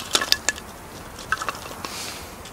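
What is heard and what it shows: A gloved hand swings a small hatchet to chop and split a solid, dry pine kindling stick over a pile of light softwood kindling sticks on gravel. Seven short, bright wooden knocks come in two clusters, each cracking sharply with almost no low end and dying away almost instantly. Faint hiss fills the gaps between them.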